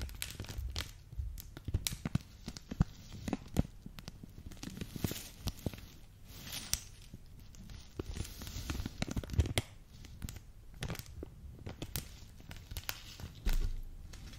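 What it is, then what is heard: Plastic bag of sequins being crinkled. A clear plastic bag partly filled with multicolored round sequins is held close to the microphone and crinkled and squeezed with fingertips and long dark nails, so the sequins shift inside. Dense crinkling and crackling with many small sharp ticks sits over a low, rumbling body, with brief bright rustles and a louder squeeze near the end.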